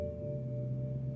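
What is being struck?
Nothing is struck.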